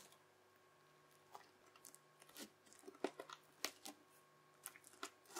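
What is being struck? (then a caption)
Bubbly slime pressed with a plastic knife. A yellow plastic knife edge is pressed in chopping lines across spread-out teal crunchy, bubbly slime held in one hand. It gives a quiet, irregular series of short, bright crackling crunches with very little ring, over a faint steady low hum.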